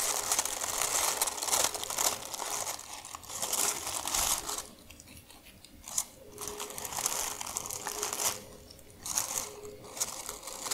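A crumpled sheet of thin, white tissue paper from shoe packaging is crushed, crinkled and scratched by hands with long nails. The result is dense, bright, crackly crinkling in bursts, with quieter pauses around the middle and near the end.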